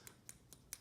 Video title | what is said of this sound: Blast Cult Channel Blaster II Double Bass Pickup System Installation | if you shake this, you can hear it. Everything's loose in there